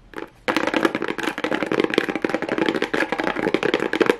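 Long nails tap and scratch fast on a small hollow kraft cardboard box fitted with a pink plastic rhinestone mesh. After a brief quiet start, a dense, continuous stream of short, dry clicks and scrapes begins, with a hollow midrange body and a bright crackly edge. The sound stays busy and even until the end.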